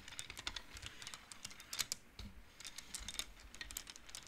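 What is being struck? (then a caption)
Wooden abacus with wooden beads on metal rods. Fingertips slide the colored wooden beads along the metal rods of a large wooden-framed abacus, making them clack against each other. The result is a quiet, steady stream of quick, bright, dry clicks with almost no ring, some louder clacks standing out here and there.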